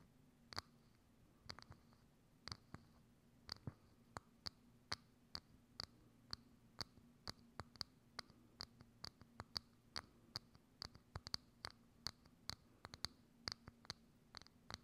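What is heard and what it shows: Long acrylic nails tap and scratch a hollow, thin, transparent plastic dome lid with a knob, placed over a microphone. The sound is a series of 36 quiet, sharp, high clicks with a bright plastic ring and almost no decay, over a faint steady low hum near 200 Hz.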